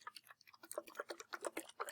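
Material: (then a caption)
Metal. A metal can of soup is shaken, giving a quick, quiet run of short sloshing, ticking knocks centred in the midrange with almost no low end. The sound shows there is liquid inside the can.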